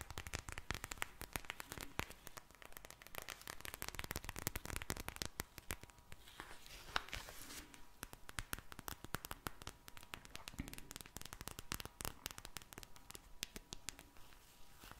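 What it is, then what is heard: Gel bead eye mask. A pink vinyl eye mask filled with glittery gel beads is held in one hand and tapped and scratched with long painted nails. Dense, rapid, crisp taps and scratchy crackling run throughout at a quiet level, dry and bright with short clicks and a faint steady tone underneath.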